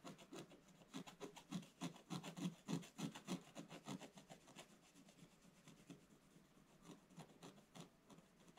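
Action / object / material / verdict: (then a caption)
scrape / coated scratch-art paper page scraped with a wooden stylus / coated paper / none. A wooden stylus scratches the black coating of a scratch-art paper page lying in a flat book, later held upright as it works. Quick, rhythmic rasping strokes repeat at a steady pace, each a short dry scrape with a low body and a bright hiss. The strokes are louder and fuller in the first half, then turn lighter and softer toward the end.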